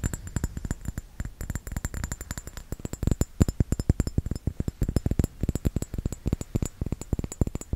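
A small round glass bottle with a metal screw cap, filled with red liquid, is held in one hand and tapped and scratched with the fingertips and nails of the other. A rapid, steady run of dozens of short, dull, low-pitched taps follows, with almost no ring, over a faint, bright hiss.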